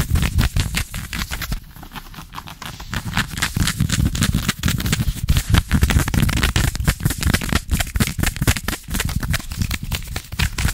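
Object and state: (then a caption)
Knit fabric trousers being scratched. Fingertips and nails scratch quickly and aggressively on soft green ribbed knit trouser fabric stretched over a bent knee, right next to the microphone. The result is a dense, irregular run of rough scratching strokes with a heavy low-end rumble and a crackly, bright edge.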